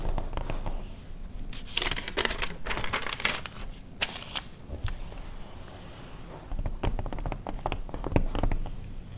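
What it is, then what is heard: Glossy paper magazine being scratched. Long red nails on both hands scratch the text pages of an open glossy paper car magazine from 2009, then turn a page. Dry, crinkly scratching and bright papery rustles come in bursts over a low, steady background.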